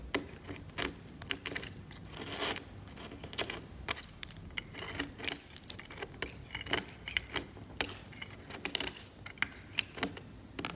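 A steel scalpel blade scrapes the varnish on a varnished oil painting on canvas, lifting flakes. Irregular, bright, dry scratches and sharp little ticks come in short bursts over a quiet background throughout the clip.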